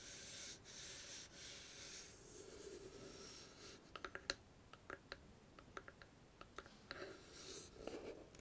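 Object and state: Small wooden chest box.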